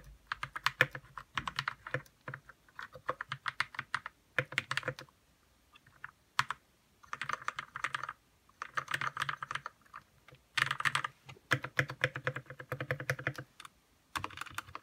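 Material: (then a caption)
Plastic. A white 60% Royal Kludge RK61 mechanical keyboard with plastic keycaps, lubed red linear switches and RGB backlight, resting on a desk, is typed on quickly with the fingertips of both hands. Rapid bursts of short, crisp key clacks with a bright, poppy tone run in rows, broken by brief pauses of silence.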